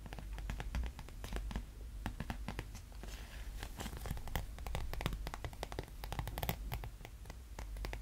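A small, thin, transparent, flexible plastic sheet (a sleeve or bag), hollow and folded, is held close in both hands while fingertips and short nails tap, scratch and crinkle it. The result is a steady run of quick, dry crackles and scratchy ticks with bright, sharp edges over a soft low rumble, each sound dying away almost at once.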